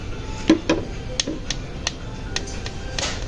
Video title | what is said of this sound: जापान का सबसे सस्ता दुकान...// 100 yen shop #daiso #daisohaul | आप देख सकते हो प्लास्टिक का आवाज से